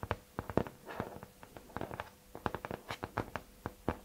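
Fingertips and nails tap and scratch the flat, thin cardboard cover of a hardcover notebook or folder wrapped in tiger-print paper, held up in both hands. Quick, dry, sharply separated taps with very short decay are interspersed with soft scratchy rustles, all muted and mostly low to mid in tone.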